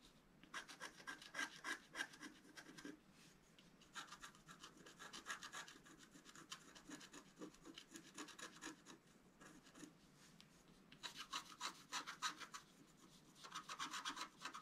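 A wooden stylus scratches away the black coating of a scratch-art card, a flat sheet with a colored foil layer underneath, held flat on a table. Fine, rapid strokes make dry, bright rasping scrapes in bursts of about three to four per second, separated by brief quiet pauses.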